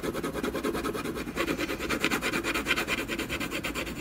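A dark colored pencil makes quick hatching strokes across a solid canvas panel. The result is a steady, rhythmic, dry scratching rasp, with each back-and-forth stroke pulsing in the mid and bright range and little low end.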